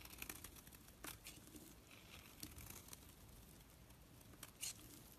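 A blade scrapes curling flakes off a solid orange bar of bath soap held in the hand, and the flakes pile up on the surface below. Quiet, bright, crinkly scraping rasps come in short bursts, with a few sharper strokes standing out over a soft low hiss.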